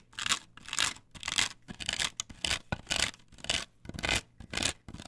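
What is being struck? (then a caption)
Perforated plastic stencil on wooden board. Long nails scratch in repeated strokes across a flat perforated plastic stencil template glued to a wooden board. Each stroke is a dry, bright rasping scrape, with short gaps between strokes and an uneven rhythm.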